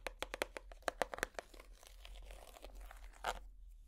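A hollow clear plastic compartment box, held in the hands, is tapped with plastic finger picks, giving quick, sharp, bright clicks in an uneven rhythm. The clicks give way to a stretch of softer, rough scraping noise, then one last louder tap before it fades.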